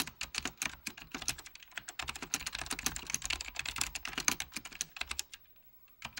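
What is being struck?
Plastic mechanical keyboard.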